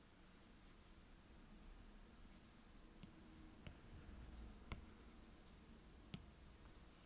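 A plastic stylus tip scratches across a glass iPad touchscreen in small back-and-forth strokes, coloring in orange areas. The soft, quiet scratching sits over a low hum, with four sharp, bright ticks as the tip strikes the glass.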